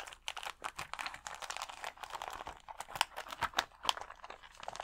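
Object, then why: Clear plastic sheet of acrylic rhinestones. Fingernails scratch and tap the gems on a clear plastic rhinestone sticker sheet of acrylic rhinestones held against the chest. The result is a rapid, uneven stream of dry, crinkly clicks and scratches with a bright, high sheen and almost no low end. Each tap dies away instantly.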